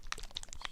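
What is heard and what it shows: A plastic Mission Models paint bottle is shaken, and the metal mixing ball inside rattles in short, bright clicks against the walls. The ball stirs the contents so the paint is not left improperly mixed.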